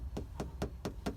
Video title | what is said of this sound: How to sound deaden a trunk | That sounds thicker. So yeah, sure's deadening the metal alright.